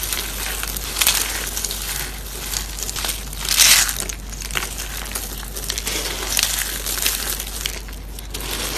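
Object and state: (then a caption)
Dry soap crumbs. Blue and pink dried soap flakes are pressed and crumbled by hand. It makes a steady, dense crackling crunch that is mostly high and bright, with louder bursts around the first and fourth seconds.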